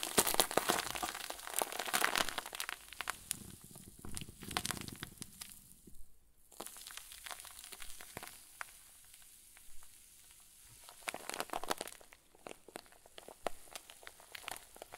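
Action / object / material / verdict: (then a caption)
scrape / plastic zip bag with fluffy filling / plastic / none. A hand-sized clear plastic zip-lock bag, stuffed full with white fluffy crinkly filling, is squeezed and crumpled between the fingers and palms of both hands. Dense, irregular, bright crinkling and crackling come loudest in the first few seconds, soften to sparse rustles through the middle, then return in sharper bursts near the end.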